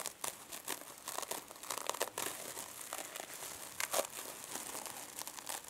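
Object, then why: Metal mesh-covered foam sponge. Long nails scratch a small silver mesh-covered foam sponge, then both hands squeeze and crumple it. The result is a dense run of dry, bright crinkling and crunching bursts with almost no low end, with a few louder crackling peaks near the middle and end.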